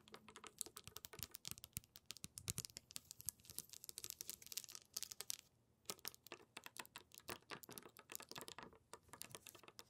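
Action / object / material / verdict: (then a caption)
tap / tray of small glass marbles / glass / none. Long pink nails tap and scratch on small round glass marbles in a lit wooden tray, then fingertips press into them. Rapid, dense, bright clicks and clinks form an irregular patter, with a brief pause of near silence around the middle before the tapping resumes.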